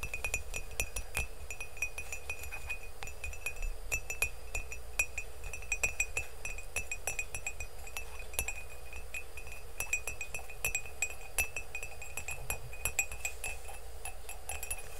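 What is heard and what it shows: Fingernails tap fast on the outside and rim of an empty blue and green glazed ceramic mug, making a quick, steady stream of short, bright clinks. Each tap rings briefly around 2.5 kHz over a low, constant rumble.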